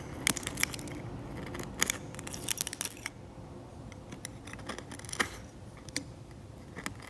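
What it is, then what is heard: Old varnish on an oil painting being scraped off. A steel scalpel blade scrapes the flat, cracked, yellowed varnish and paint layer of an old oil painting on canvas, lifting flakes as it goes. Sharp, bright scratches and ticks come in quick bursts over the first three seconds, then thin out into quieter, scattered scrapes over a soft steady hiss.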